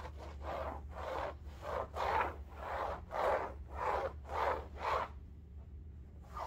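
Long nails scratch an upright cylindrical bolster pillow covered in striped woven fabric, making a series of soft, rhythmic rasping strokes. Each stroke is a dry midrange scratch that swells and fades over a steady low hum, and the scratching stops near the end, leaving just the hum.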